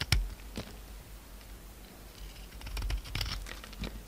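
A utility knife scrapes and shaves a solid pink oval soap bar held in the hand. A sharp scrape opens the clip, followed by soft, steady scratching and a cluster of brighter crisp shaving strokes later on, all over a low rumble.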